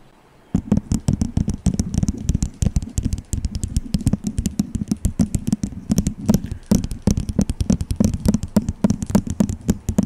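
Fingernails tap quickly on a small, hollow, empty white disposable plastic cup held over the microphone. After a brief quiet start, a rapid, steady stream of short, dry clicks begins, each with a hollow, low, boxy thump that dies away almost at once, plus faint bright ticks on top.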